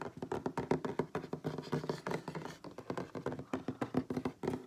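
Fingertips and nails of both hands tap rapidly on a solid wooden tabletop, close up. About thirty short, dull knocks come in an uneven, quick rhythm, each dying away almost at once, with a low-mid woody tone.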